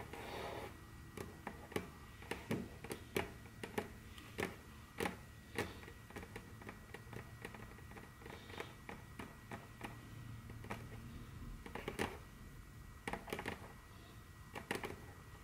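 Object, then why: Wooden tabletop tapped with fingernails. Very long curved fingernails tap and click on a large, solid, dark brown glossy wooden tabletop. Sharp, bright clicks come at an irregular pace and die away almost instantly, over a quiet, steady low hum.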